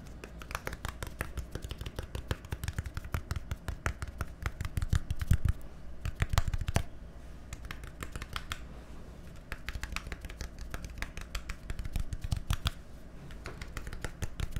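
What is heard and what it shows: A small, hollow, labeled plastic bottle with a green cap is tapped rapidly with fingernails, giving dense, dry clicking taps that stop almost instantly. The taps come in uneven bursts, with a soft low body beneath the sharp clicks and a quieter stretch in the middle.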